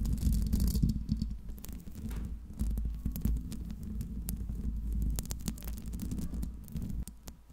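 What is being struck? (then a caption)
Metal mesh microphone grille. Long pink acrylic nails from both hands scratch and tap the hollow metal mesh grille of a Blue Yeti microphone. The result is a dense, irregular run of close-up clicks and scraping with a heavy low-frequency rumble underneath. Sharp taps stand out from the continuous scratching.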